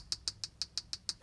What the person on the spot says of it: i think he's made out of the hardest plastic of all of them all of them are like a little soft and rubbery